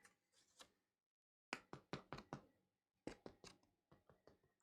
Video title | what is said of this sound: 21 August 2021 | they sound hollow. They sound like knocking on a door.